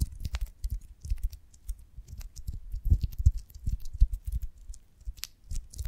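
Long nails tap and scratch the waxy cell surface of a pear-shaped beeswax honeycomb on a wooden branch stick, cupped in both hands. Soft, dull taps come in an irregular, rapid patter, with faint bright scratchy clicks above them.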